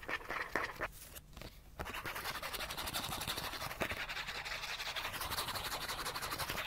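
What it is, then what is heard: Cardboard card scratched with fingernails. Fingernails scratch fast along the face and edge of a small, thin, solid die-cut cardboard card printed with a cartoon chipmunk face, held in the hands. The scratching is a rapid, dry, bright rasping that briefly drops quiet near the second mark, then resumes as a dense, steady stream to the end.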